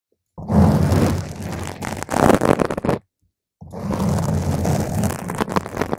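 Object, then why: Foam microphone windscreen. Long pointed green nails scratch and tap directly on a round, soft, porous purple foam cover fitted over a microphone. Two long bursts of dense, rumbling, roar-like scratching are heard, heavy in the low end, separated by a brief silence.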